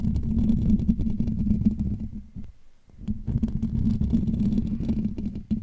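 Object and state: Metal mesh microphone grille.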